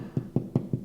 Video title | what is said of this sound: 3 Easy ways to SEAL TORN DRYWALL PAPER! | if it sounds hollow then you have to do more work if it sounds secure then it's good